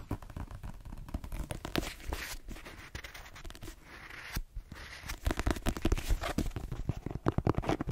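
Long green nails scratch and scratch-tap the cover and page edges of the paperback novel "The Twins," a solid paper block. The result is a dense run of quick, dry scratches and taps with almost no ring, mostly low in tone. The sound grows louder and busier in the second half.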